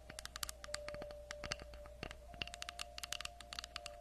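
A round slice of tree log with a bark edge, about 20 cm across and solid wood, is held up in both hands in front of a fluffy microphone and tapped and scratched with long acrylic nails. The result is a quiet run of short, dry, bright clicks and taps with very little ring, over a faint scratchy hiss and a steady low hum.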